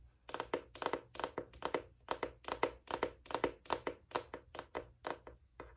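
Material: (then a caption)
Cardboard. Long nails tap and scratch across the solid, flat cardboard hardcover of a large spiral-bound notebook with a striped navy and white "INSPIRE" cover. A quick, uneven run of short, dry, crisp clicks sits in the midrange, each dying away almost instantly with no ring.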